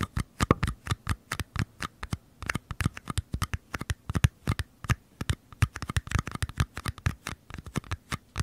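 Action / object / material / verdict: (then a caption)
scrape / small paper cups / paper / none. Nails and fingertips scratch and tap the outer walls of two identical small, empty, hollow paper cups held sideways. Dozens of quick, dry, papery scrapes and taps follow one another in an irregular patter, each with a soft hollow thump and almost no ring.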